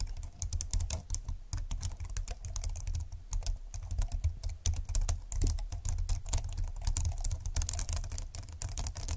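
Fingertips of both hands type fast and densely on a slim computer keyboard with plastic keys and a grey frame. The result is a continuous stream of short, bright, crisp clicks with very little ring, over a steady low hum.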